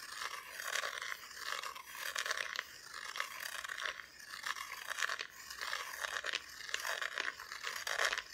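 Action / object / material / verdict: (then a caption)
scrape / flat wooden cutout decoration, unfinished back / wood / none. Long nails scratch across the bare, unfinished wooden back of a flat, solid Christmas decoration cutout. Dry, raspy scraping strokes come in uneven bursts that rise and fall, bright and papery with almost no low end. Each stroke stops dead with no ring.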